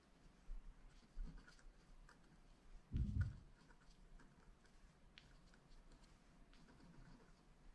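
A wooden stylus scratches and dots the coating of a flat black scratch art card (wax-coated paper) lying on a table. Quiet, dry scratching runs throughout, broken by a few soft taps and one louder low thump near the middle.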